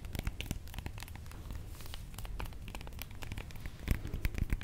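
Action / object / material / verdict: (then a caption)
tap / whole avocado with bumpy skin / avocado skin / none. A whole, solid, fist-sized avocado with dark, bumpy skin is held in the hands and tapped and scratched with long manicured nails. Rapid dry clicks and crinkly scratching mix over a soft low rumble, with a few sharper taps near the end.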